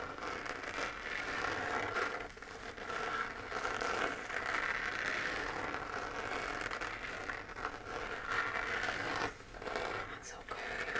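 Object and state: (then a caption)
Plastic moon lamp scratched with fingernails. Long fingernails scratch across the textured crater surface of a hand-sized, hollow, lit 3D-printed plastic moon lamp held in the dark. A steady, dry scratching and crackling rasp runs almost unbroken through the clip, centered in the midrange around 1.5 kHz with a fizzy high edge. It eases briefly twice, near 2.3 and 9.4 seconds, before the scraping picks up again.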